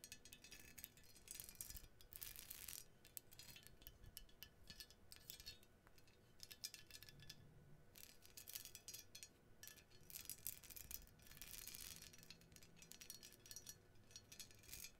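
An ornate gold-toned metal menorah with blue enamel, rhinestone details and small cup holders, held in one hand, is tapped and scratched along its scrollwork and cups by long blue nails. The result is a dense, quiet stream of bright clicks, clinks and scratchy rustles that come in busy bursts throughout, with no lasting ring.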